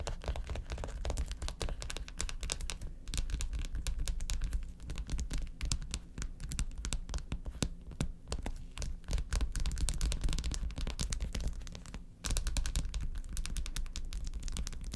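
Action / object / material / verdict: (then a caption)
scrape / plastic gel-filled ice pack / plastic / none. Long acrylic nails rapidly scratch and tap across a large, flat, blue plastic ice pad with quilted, gel-filled cells. The result is a dense stream of crisp clicks and scraping crinkles over a steady low rumble. The sound dips briefly near the twelve-second mark before resuming.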